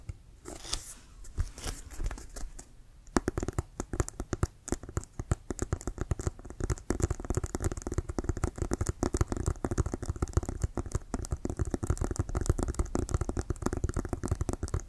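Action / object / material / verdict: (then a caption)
scrape / leather-covered American football / leather / none. Fingernails scratch and tap along the white stitched laces and pebbled cover of a brown Wilson leather-covered American football, hollow and inflated, held in both hands. A few seconds of soft, quiet scratching give way to a dense run of rapid, dull taps. The taps are heavy in the low end and die away almost instantly.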